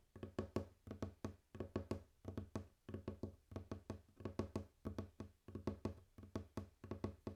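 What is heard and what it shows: Fingers tap and knock on a wooden table in steady clusters of quick, dull hits. Each hit is a short, low, woody thud that dies away almost at once, with little bright content.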